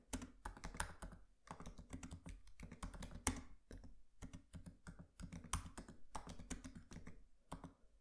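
Both hands tap with their fingertips on a MacBook Pro laptop keyboard with black plastic keys and an aluminium body. The typing is quiet and steady, a dense run of short, dull clicks. Each key press has a soft low thud and a brief bright tick that dies away almost at once.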